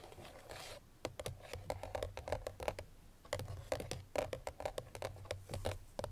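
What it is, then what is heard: Cardboard perfume box. Long nails tap quickly on the front face of a hollow, cream paperboard Chloé perfume box with the bottle inside, after a brief soft scratching at the start. The taps come in two rapid bursts of short, dry clicks with a hollow mid-range knock and almost no ring.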